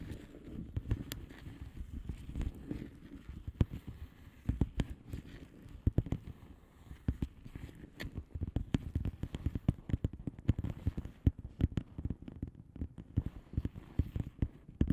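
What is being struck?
Bubble wrap padded envelope, plastic.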